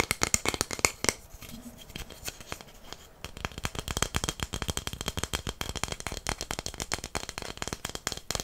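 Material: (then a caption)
Wood. A long, flat, solid wooden incense stick holder with inlaid stars is held in the hands and tapped and scratched with fingernails. Dense runs of quick, dry, bright clicks come in a steady stream, easing briefly near the middle before picking up again at a faster, even pace.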